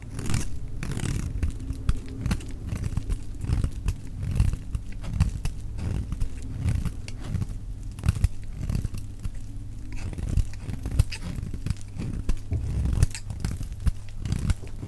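A solid, dry orange bar of soap held in the hand is shaved into curls with a metal utility knife blade. Many short, crisp scraping and crinkling strokes follow one another with little ring, over a low, steady hum.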